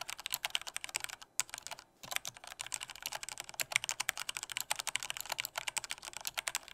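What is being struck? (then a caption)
Plastic mechanical keyboard keys. Fingertips type firmly on a black plastic full-size Corsair K68 mechanical keyboard with Cherry red switches. They produce a rapid, steady run of sharp, bright key clacks with almost no ring, broken by brief pauses around the 1.4 and 2-second marks.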